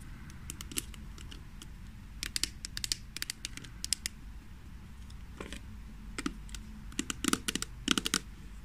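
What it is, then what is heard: Plastic hand cream jar tapped with nails. Long nails tap and scratch the lid and sides of a small, hollow green plastic Kamill hand cream jar held in the hands. Sharp, bright clicks come in irregular bursts and flurries, each dying away almost instantly, over a faint steady low background.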